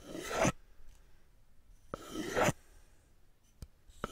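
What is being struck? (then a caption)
Two wooden spoons. Two solid, medium-size wooden cooking spoons are held in both hands in front of the mic, and the handle and back of one is rubbed and scraped against the bowl of the other. Two rasping wood-on-wood scrapes rise to a bright, broadband peak and cut off sharply, followed by a couple of faint short clicks.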